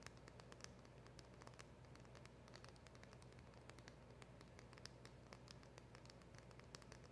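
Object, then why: Small cardboard packaging box tapped with long fingernails. Long acrylic nails tap and scratch on a small, hollow black printed cardboard box with a round emblem sticker, held close. Rapid, soft, bright ticks and scratches patter quietly over a steady low hum throughout.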